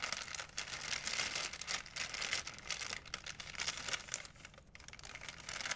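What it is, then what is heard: Plastic shopping bag. An empty white plastic shopping bag is stretched, folded and crinkled in both hands. The result is a continuous, dense, bright crinkling and rustling with sharp crackles, briefly easing before picking back up at the end.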